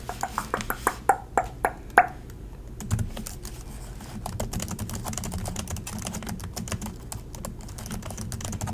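Fingertips of both hands type continuously on the plastic chiclet keys of an Acer laptop. About eight loud, separate taps with a short bright clack near 700 Hz open the clip. These give way to a steady stream of rapid, softer key clicks over a low hum.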